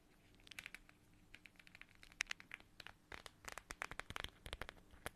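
Long nails scratch and tap a small, flat, transparent plastic pouch shaped like a watermelon slice and filled with red gel water beads. The result is a quiet, irregular run of sharp, bright crackling clicks and scratchy rustles that grow denser and louder over the clip, with almost no ring after each touch.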